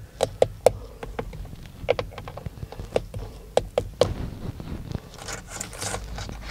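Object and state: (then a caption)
Plastic steering wheel airbag cover. Fingertips knock and tap on the hollow, textured black plastic airbag cover of a Dodge steering wheel. The result is a series of short, dry, irregular taps with a hollow mid-pitched knock that dies away almost instantly. A soft, bright, scratchy rustle follows near the end.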